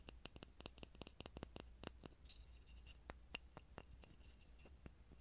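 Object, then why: Small grooved pine wood block. A small, solid, grooved pine wood block held near a mini microphone is tapped and scratched with fingertips and nails. A rapid, irregular run of sharp, dry wooden clicks with bright high edges dies away almost instantly, mixed with brief scratchy rasps. A steady low hum sits underneath.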